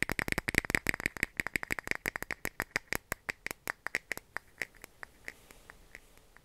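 A clear plastic cap is tapped in a rapid run of dozens of short, dry, clicky taps with a bright tone around 2 kHz. The taps start dense and loud, then space out and grow quieter toward the end.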